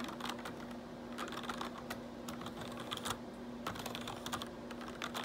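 Fingertips type and tap on the keys of a black plastic RGB backlit computer keyboard. Quick, light plastic clicks and clacks patter in irregular bursts over a faint steady low hum.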